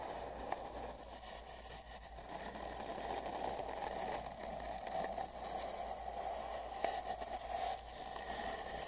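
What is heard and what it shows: The bristles of a large paint brush are pressed and brushed along the right part of a long, hollow, empty brown cardboard mailing tube, with the microphone inside. A steady, scratchy brushing rustle rises and falls, carrying a hollow, boxy resonance around 700 Hz and bright hiss. A few sharp ticks stand out from the continuous texture.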